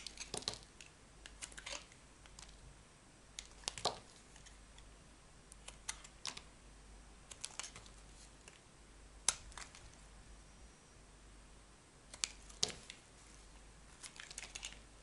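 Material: Soap.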